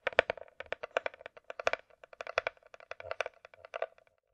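Long nails tap quickly and irregularly on the top and underside of a closed, hollow hard-shell glasses case with a glossy coated shell, likely plastic. Each tap is a short, dry click with a hollow mid tone around 645 Hz and a bright clicky edge. The taps stop almost instantly, with no ring between them.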